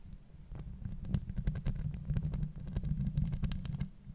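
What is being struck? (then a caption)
Metal mesh microphone grille. Long nails scratch and tap across a hollow metal mesh microphone grille. It makes a dense, close, low rumbling scrape broken by quick taps with bright high ticks, and the taps die away almost at once.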